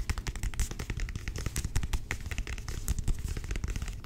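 Long nails tap rapidly on the cover and page block of a thick, solid navy cloth-bound hardcover book, and the book is opened. The result is a dense, crackling run of short, dull taps, heavy in low thuds with light, bright clicks on top, each dying away almost instantly.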